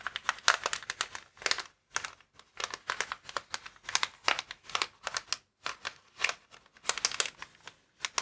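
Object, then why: Plastic air-filled packaging bag. Fingertips scratch and tap the film of a clear plastic air column cushion bag, an air-filled packaging bag lying flat. Dense bursts of bright, crisp crinkling come in quick irregular clusters, each dying away almost at once, with no low end and short near-silent gaps between them.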